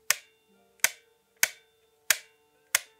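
Five sharp metallic clicks, each followed by a faint lingering ring, come from the loose internal spring and rod being flicked inside the receiver of a KWA Beretta PMX gas blowback airsoft gun. The ringing is an annoying fault that grease or foam can damp.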